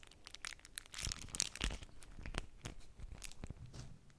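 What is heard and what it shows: A small square of bee-print beeswax-coated cotton wrap, folded and held above a stack of identical wraps, is pinched, folded and crinkled between fingertips and long natural nails. The stiff waxed fabric gives off dense, papery crackles and tearing-like rustles with bright, crisp edges. Soft, low rubbing continues underneath the crinkles.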